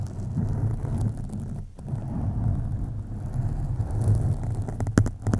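Long acrylic nails of both hands scratch a black foam windscreen on a USB microphone. The result is a dense, low rumbling rustle centred near 100 Hz, with a brief dip partway through and a few sharper, brighter scratches near the end.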